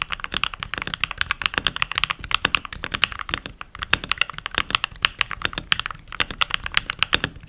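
Fingertips with short nails and rings type continuously on a full-size backlit mechanical keyboard with pink plastic keycaps. About 60 quick, bright plastic clicks and clacks come in a steady, uneven stream, each dying away almost instantly, with very little low end.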